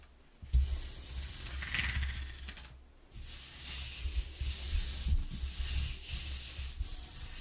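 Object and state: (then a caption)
Corrugated cardboard sheet being rubbed. A palm and fingers rub over the exposed flutes of a flat corrugated cardboard sheet. The result is a dry, bright scratchy hiss in uneven strokes over a deep low rumble, with a brief quiet pause around the three-second mark before the rubbing resumes.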